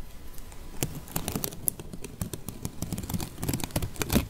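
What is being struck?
Whole onion with dry outer skin.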